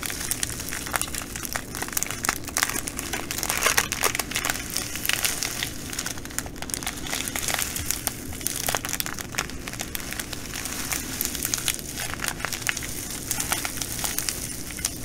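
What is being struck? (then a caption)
Plastic bag filled with glass bugle beads. Long nails tap and scratch a clear plastic bag of green glass bugle beads while fingers squeeze it. The result is a steady, bright crinkling and crackling with dense, quick clicks of the beads shifting inside, running continuously with no pauses.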